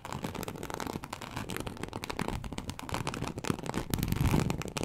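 Long acrylic nail tips scratch across the scales of a large, flat, teal snakeskin-embossed leather sheet. The result is a dense, continuous crackly scratching with a heavy low rumble and a little bright rasp, growing slightly louder toward the end.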